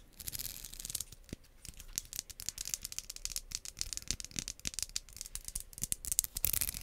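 Long nails scratch and strum the teeth of a pink solid plastic wide-tooth comb held close above the mic. A dense, uneven run of quick, dry, bright clicks and raspy scrapes, mostly high in tone with little low end and no ring, growing slightly louder toward the end.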